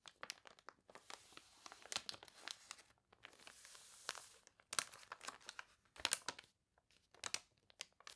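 An open, water-warped catalog of wavy, glossy paper toy pages has a page turned, then long nails scratch and rub across it. Quiet, bright crinkles and crackly scratches come in rapid bursts, broken by stretches of steady hissing rubs, with no low end and almost no ring after each sound.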